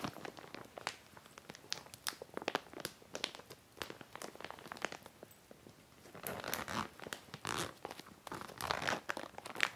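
Fingertips squeeze, crinkle and run along the zipper edge of a medium clear heavy plastic (vinyl) zippered storage bag with white trim, filled with a folded dark plaid fabric item. Dense, sharp, bright crackles and ticks come in quick irregular bursts with almost no low end. The crinkling grows fuller and louder in the second half.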